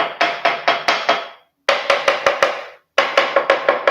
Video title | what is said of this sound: A LIGA EMPRESARIAL 20/12/2025 - Escondendo manifestações patológicas para as festas de fim de ano | lã de rocha Em volta dela para segurar a temperatura então por isso que ela tem esse som oco